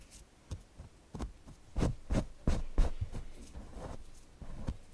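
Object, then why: Stuffed cotton fabric cushion. Short nails and fingertips scratch the eyes, beak and body of a soft stuffed owl cushion made of printed cotton with stitched appliqué. The result is an irregular run of quiet, dull scratching strokes, each a soft, low, muffled rub that fades almost at once.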